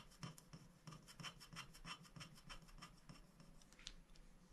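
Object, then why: Black-coated scratch-art paper sheet scraped with a wooden stick. A wooden stick scratches the black coating off a thin, flat paper scratch-art sticker sheet lying on a glass board while a hand holds the sheet. Quick, uneven rasping strokes, about three per second, make a dry, bright scraping sound over a steady low hum.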